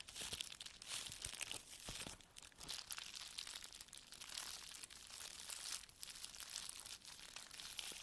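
A small flat plastic bubble wrap pouch with a barcode label is held in the hands, then laid flat on a table, while fingertips and long nails squeeze, rub and press it. Dense, bright crinkling and crackling carries on for the full eight seconds as a quiet stream of many tiny sharp snaps, with almost no low end.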